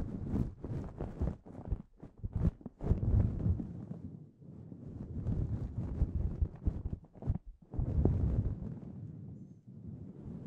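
Both hands grip a soft, fluffy grey synthetic fur windscreen covering a hollow foam microphone body, scratching and rubbing it with fingertips and short nails. The result is a dense, muffled rumbling scratch, almost all low-pitched, moving in irregular rapid strokes with a few brief pauses between bursts.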